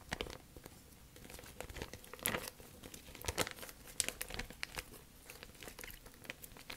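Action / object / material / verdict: scrape / thin plastic bag / plastic / none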